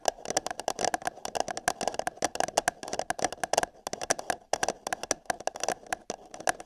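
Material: Paper.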